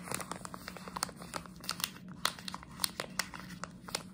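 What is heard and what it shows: A plastic jelly bean bag held in one hand is crinkled and scratched with long nails, making a rapid run of sharp, bright crackles and snaps over soft rustling. A faint steady low hum sits underneath the whole clip.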